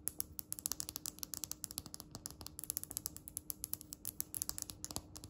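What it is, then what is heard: Stone countertop tapped with fingernails. Long red acrylic nails tap and scratch a flat, solid, speckled polished stone countertop. The result is a quick, uneven run of dozens of sharp, bright clicks with faint scraping between them, each tap dying almost at once with no ring, over a soft steady low hum.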